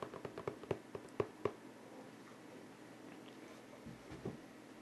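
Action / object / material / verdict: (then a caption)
tap / cardboard board game box / cardboard / none. Fingertips tap the edges of a medium-size printed cardboard King of Tokyo game box, hollow and open, with its white inner lid held above it. About nine soft, hollow, dull taps come in a quick uneven run over the first second and a half. After a quiet stretch, two faint knocks follow as the lid is lowered and closed onto the box.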